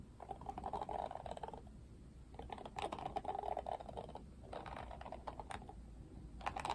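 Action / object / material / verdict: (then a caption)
scrape / plastic bristle hairbrush / plastic / none. Fingertips strum and scratch the pink-tipped plastic bristles of an oval Barbie plastic detangling paddle hairbrush with a black cushion. Quiet bursts of rapid, dry clicking and scratching carry a soft midrange rattle around 800 Hz, with brief pauses between the strokes.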